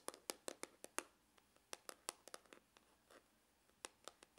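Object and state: Faux leather hard glasses case.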